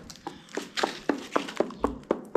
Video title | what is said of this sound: Lime render progress on the cave house ceiling is overshadowed by very sad news (Ep 194) | nice and solid here